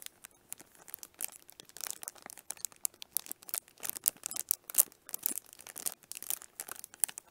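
Long nails scratch and squeeze the crinkly clear cellophane wrap on a small, hollow pink plastic onigirazu case held upright in both hands. Quiet, bright crinkling and crackling come in dense bursts of short, sharp snaps with almost no low end. The crackles are irregular and die instantly.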